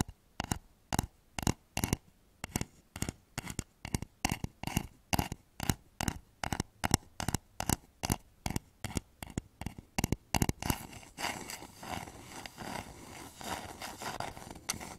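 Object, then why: Upturned wooden bowl. Fingernails tap quickly on the outside of a hollow, polished wooden bowl turned upside down over microphones, giving a steady run of short, dry, hollow knocks with a low body around 109 Hz. Near the end, the taps blur into a denser, brighter scratching across the wood's surface.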